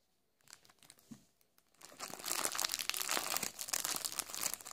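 Fingertips hold and squeeze a small packaged sponge snack cake in a thin, crinkly plastic wrapper. Sparse, quiet crinkles give way to dense, bright crinkling that stays loud through the rest of the clip.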